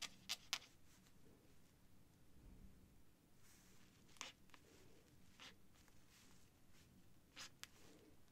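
The tip of a white feather quill scratches across a thin cream sheet of paper on a desk while writing figures. It produces quiet, bright, dry scratching strokes with a few sharper ticks, over a faint low hum.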